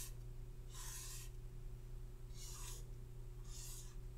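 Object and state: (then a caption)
Paper sheet on clipboard. Fingertips with short painted nails tap and scratch a printed paper face chart clipped to a hardboard clipboard lying flat on a red surface. Soft, bright scratchy bursts come and go over a steady low hum.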